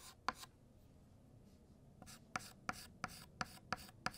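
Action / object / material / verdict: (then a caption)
scrape / chalk on a chalkboard / chalk / none. White chalk thickens the letters of "Happy" and "New" on a flat black chalkboard. Short, bright, scratchy strokes are heard, each starting with a crisp tap. After a quiet stretch near the start, the strokes come in a quick, uneven series.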